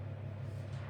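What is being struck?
Nothing is struck.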